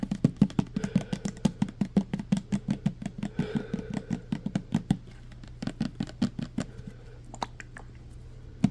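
Fingertips and nails tap quickly on the body of a clear plastic pump bottle filled with green liquid soap, making a rapid run of short, dull, hollow knocks with a low pitch and almost no ring. The taps are fast and steady for about five seconds, then become quieter and more spaced out over a faint low hum.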